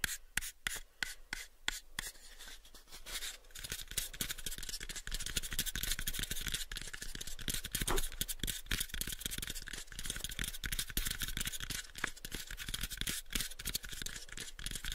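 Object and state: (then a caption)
Wooden box being tapped and scratched. A hollow, pale, unfinished wooden cube box is held in both hands while fingernails scratch and tap across its faces. Sparse, sharp taps open the clip, then give way after a few seconds to a steady, bright scratching texture dotted with quick, dry taps that die away almost instantly.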